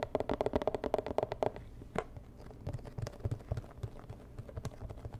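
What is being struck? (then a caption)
Rigid cardboard box. Long nails tap the sides of a medium, hollow, rigid white and red cardboard box. A rapid run of dry clicking taps with a hollow resonance comes first, then sparser, softer taps and a low rumble follow. Each tap dies away almost instantly.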